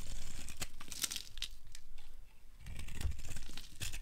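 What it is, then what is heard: Dry soap bar being shaved. A metal blade shaves flakes from a solid, dry, light blue oval soap bar held in the hand. Quick, uneven scraping strokes give a dry crunching and tearing sound with bright crackles and a soft low rumble underneath. The sound briefly eases off midway before the carving strokes pick back up.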